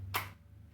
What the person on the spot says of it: just tapping it you can hear that spring and it is ten times as loud